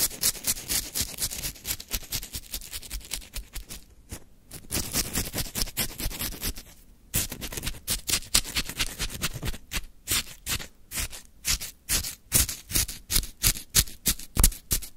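A wooden stick scrapes and digs into a full plastic cup of frozen lemon shaved ice, lifting icy crystals. Rapid, crunchy scratching strokes with bright, crisp texture repeat throughout, with brief pauses around 4 and 7 seconds, then louder, more distinct scrapes toward the end.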